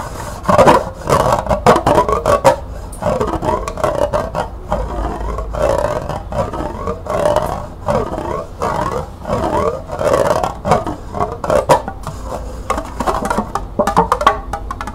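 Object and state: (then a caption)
Plastic cup. A small, hollow, empty green plastic cup held upside down is tapped and scratched with long nails on its base and sides. Fast bursts of hollow, plasticky clicks and dry scratching rasps repeat through the clip, sitting in a mid-range tone.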